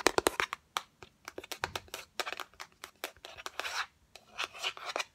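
Long acrylic nails tap and scratch quickly on the white inner surface and rim of an open, hollow yellow cardboard Fendi box. Sharp, dry clicks come in a rapid run, mixed with longer bright scratching passes, each sound stopping almost at once with no ring.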